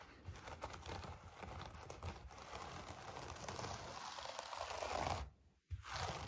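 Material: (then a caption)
Wool. Fingertips of both hands scratch across the pile of a thick, hand-tufted wool rug shaped like a tiger, lying on a wooden floor. The result is a steady, dense, crinkly rustle with a soft low rumble underneath. Near the end it cuts off to near silence for a moment, then resumes.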